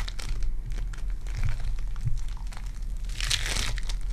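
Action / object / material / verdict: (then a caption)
scrape / foam bead clay ball / foam beads / none. A lilac foam bead clay lump is squeezed with fingertips and nails, then held and pressed in an open hand. It gives a steady, dense crinkling and crackling over a low rumble, with a brighter burst of crunchy popping near the end.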